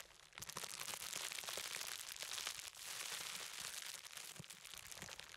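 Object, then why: Plastic bubble wrap roll. A large, hollow-cored roll of clear plastic bubble wrap is held upright in both hands while fingertips tap and press over the bubbles. After a brief quiet start, it makes a dense, bright crinkling with scattered small pops and crackles, continuing steadily to the end with little low-end weight.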